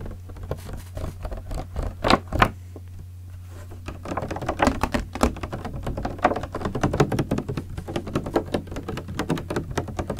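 Fingertips tap the sides of a large clear green PET plastic water bottle with a red cap, partly filled with liquid and held in one hand. Quick, soft, hollow plastic taps patter over a steady low hum, with two sharper knocks near the start and a brief quiet pause. The tapping then returns denser and faster until the end.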